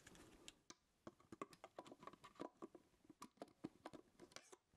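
Fingertips tap and click the buttons and dials of a black Sony A7 IV plastic and metal mirrorless camera body, held in one hand with no lens and a body cap on. About two dozen quiet, dry, short clicks land in an irregular rhythm, each with a midrange knock and a little high tick that stops almost instantly.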